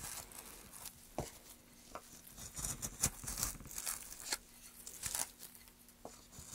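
A small gouge cuts and scrapes into a carved hollow in a solid, light pine softwood plank held upright. The bright, dry rasping and crackling strokes come at an uneven pace, with sharp short cuts that stop almost instantly over a faint low steady hum.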